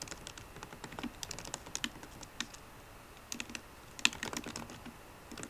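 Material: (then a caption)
Plastic. Fingertips and painted nails of both hands tap the black plastic keys of a solid 13-inch silver aluminium MacBook Pro laptop keyboard. Quick, bright, dry clicks come in irregular bursts with short pauses between them. One louder tap lands near the four-second mark, and each click dies away almost instantly.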